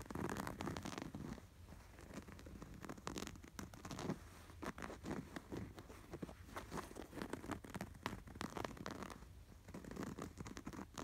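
Fingertips and short nails scratch rapidly over the embroidered patterns of a soft, stuffed cream canvas throw pillow with a red appliqué sweater design. The result is a quiet, dry rasping texture in repeated bursts of fast strokes, with a soft low thud beneath and a few brighter, crisper swipes.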